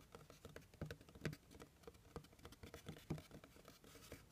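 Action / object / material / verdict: tap / cardboard box / cardboard / none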